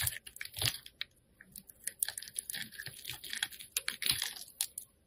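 An oval, hand-sized bar of solid green soap is held in the fingers and carved with a metal cutter blade that shaves off curls. The repeated scraping and cutting make a rapid series of crisp, dry, crunchy strokes, bright and sharp with almost no ring. Quiet pauses fall between the bursts.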